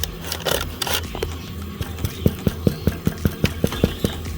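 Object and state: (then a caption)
Damper bread sounding hollow, baked through. A damper bread loaf is turned over with some rustling and handling, then tapped about ten times in an even run of short, dull, low knocks with quick decay. The loaf sounds hollow, showing it is baked through, though it turns out just a bit burned on the bottom.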